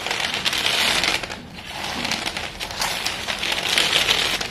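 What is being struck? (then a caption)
Broken sticks of white school chalk. Bare fingertips with painted nails squeeze, press and crumble a heap of short, solid, dusty broken sticks of white school chalk on a silver foil paper plate. The result is a dense, bright, gritty crunching as the chalk breaks, with a slight crinkle possibly from the foil underneath. It eases briefly about a third of the way in before the crumbling picks up again.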